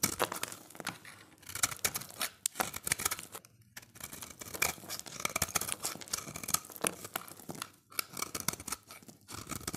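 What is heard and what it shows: A solid, dry, oval orange bar of soap held in the hand is scraped and shaved with a utility knife blade, with the shavings falling away. It makes a dense run of quick, bright, crisp scraping strokes with little low end, broken by a few brief pauses.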